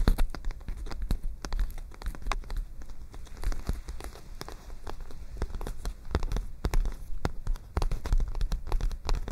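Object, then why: Paper spiral notebook. Long nails tap and scratch on a white paper spiral notebook with its pages rolled back, held in both hands close to the microphone. Many quick, dry ticks and crinkly scrapes come in irregular bursts over a steady low rumble, with sharp high clicks and almost no ring.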